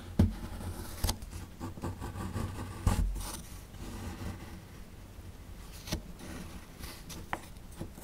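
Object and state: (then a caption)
Plaster dig block being scraped. A metal chisel tool scrapes along the lower edge of a small, solid plaster dig block, crumbling plaster powder. Six short, dull, low scraping knocks stand out over a steady, soft gritty rasp.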